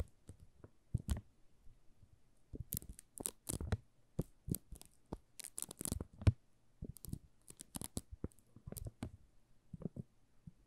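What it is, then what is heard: Plastic-wrapped soap bar. A solid pink "Rose" soap bar wrapped in thin plastic film is held in the hands while fingertips and nails scratch and tap its surface. Short, dry bursts of crinkling and crackling come in quick irregular clusters, each dying away almost instantly. A faint low hum sits steadily underneath.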